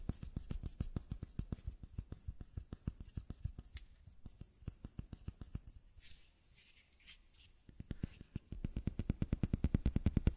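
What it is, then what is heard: Plastic bottle. Quick fingertip and nail taps on the body of a small, matte white plastic bottle with a square cap, which appears empty. The rapid, dry, hollow taps have low thuds and almost no ring. They thin out into a quieter stretch with soft hiss in the middle, then return faster and louder toward the end.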